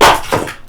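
Oak firewood logs meant for the smokehouse are knocked against each other or dropped to check their dryness, giving a sharp, hollow knock with a clear ringing tone near 890 Hz that fades within a fraction of a second. The ring shows the wood is dry, seasoned for at least three years.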